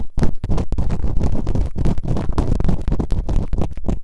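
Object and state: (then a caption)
Scratching on a silicone ear microphone. Bamboo earpicks held in long-nailed fingertips scratch and rub quickly inside the open canals of both solid, rubbery silicone ear models on a white binaural microphone. The result is a dense run of deep, muffled rubbing and scratching bursts that are heavy in the low end and carry almost no brightness.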